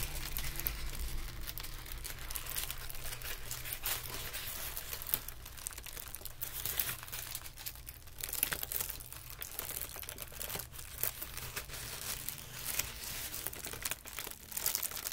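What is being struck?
Tissue paper sheet.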